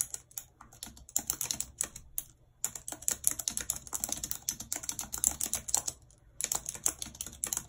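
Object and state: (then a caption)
Plastic computer keyboard. Long red nails tap and type on the keys of a white plastic computer keyboard. The result is a steady run of sharp, bright clicks with almost no low end and no ring. The clicks come in bursts, with brief pauses between them.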